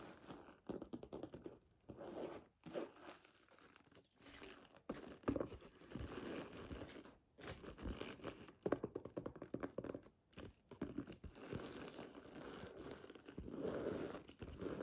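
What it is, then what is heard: Leather handbag. Long natural nails and fingertips tap and scratch across the stitched front leather panel of a hollow, medium brown leather handbag standing upright. The result is a quiet, continuous stream of soft, dry crinkling, scraping and scratching with brief gaps and short, muffled taps that fade almost instantly. The sound sits mostly in the low-mid range with very little bright content.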